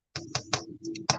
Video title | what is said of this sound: Homemade Biscuits & Sausage Gravy / Grilled Chicken Cassoulet Preparation / Sat. in the Kitchen | you can hear that hollow sound as you tap then you know they're ready